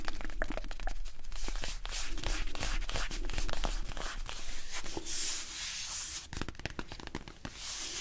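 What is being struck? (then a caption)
Small cardboard box. A small, hollow printed cardboard box is held in the hands while its printed and blue sides are scratched and rubbed with fingertips and nails. The result is a dense, uneven run of dry, crackly scratches and papery rubbing strokes with a bright, hissy edge. A steady low hum sits underneath throughout.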